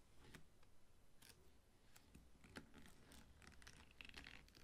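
Fingertips and short nails stroke and scratch the stiff, dry crown leaves at the top of a whole ripe pineapple standing upright on a dark table. The result is quiet, continuous crackling and rustling, with short, bright ticks and scrapes over a soft low rumble.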